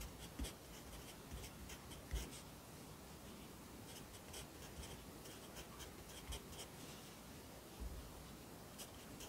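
A yellow wooden pencil held in the fingers writes across an open lined paper notebook lying flat on a desk, the graphite scratching on the paper. Quiet, irregular scratchy strokes come in bright, hissy bursts over a soft low background rumble, with a few slightly louder taps where the pencil strikes the page.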